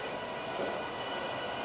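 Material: Nothing is struck.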